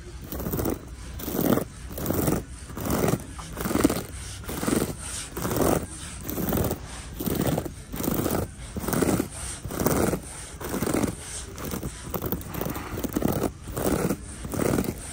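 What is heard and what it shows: Long nails scratch and rub a soft, hot pink crocheted yarn tote bag hanging on a display. Steady back-and-forth strokes, a little more than one per second, make a soft, dull, fibrous rasp that swells and fades with each pass, with a faint bright hiss above.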